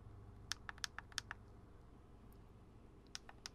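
Fingertips tap on the lens cap and the hollow plastic body of a black Canon DSLR camera fitted with a lens, held up close. About ten short, bright clicks come in two loose clusters, at the start and near the end, each dying instantly over a low steady background hum.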